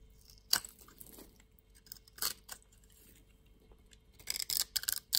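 A utility knife blade scrapes small cubes off a solid orange soap bar with grid scoring, held in hand. It makes quiet, bright, crisp crunching scrapes, scattered at first and then clustered near the end, with faint low background noise.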